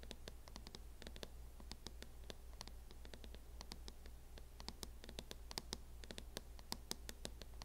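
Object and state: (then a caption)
Plastic hard-shell laptop case. Long nails scratch and tap the matte lid of a closed MacBook in a teal hard-shell plastic case, producing a rapid run of sharp, dry clicks and scrapes with bright high-end sparkle. Each hit dies away almost instantly over a quiet, steady low hum.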